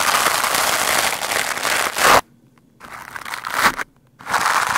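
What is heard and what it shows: A lime-green plastic scrub brush fast and roughly scratches and brushes a black foam microphone windscreen, making a dense, bright, crackling rasp. The scratching runs in three bursts separated by two short near-silent pauses.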